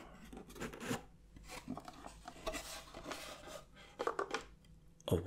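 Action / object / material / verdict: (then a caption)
scrape / light wooden box lid / wood / none. A light wooden gift box with a windmill print on its lid, held up open and filled with tubes of chocolate biscuits, has its lid scratched and rubbed with fingertips and nails. The result is a dry, rasping scrape in uneven bursts, with a few sharper taps near the end.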